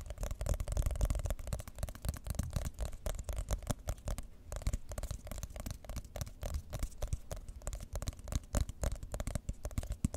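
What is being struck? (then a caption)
Glossy cardboard box tapped and scratched with fingernails. Long nails tap and scratch across the top surface of a white glossy cardboard iPhone box. The result is a dense, continuous run of quick, dull tapping and scratchy rustling with a strong low-end thump and little brightness.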